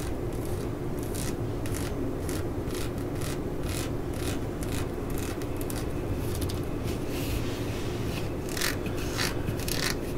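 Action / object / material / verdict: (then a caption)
scrape / ribbed rubber hammer handle grip / rubber / none. Fingertips and nails scratch and rub the ribbed solid rubber grip on the handle of a claw hammer lying on a mat. Repeated short, bright scratchy strokes sit over a steady low rumbling bed, and the level stays even throughout.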